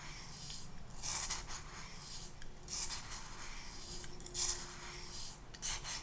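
Fine pink sand or sugar, filling about half of a small clear glass cup held in one hand, is swirled and scraped inside the cup, apparently with a clear plastic spoon. Bright, gritty rubbing and rasping strokes rise and fall in repeated bursts over a quiet low rumble, with a faint steady tone showing briefly near the end.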